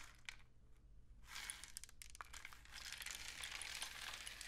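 A long, hollow painted cardboard rain stick with mesh-wrapped ends is tilted upright and then held horizontally, sending its loose grains cascading through the tube. A few sparse ticks at first give way to a dense, bright, hissing patter of falling grains that swells and stays steady toward the end, over a faint low hum.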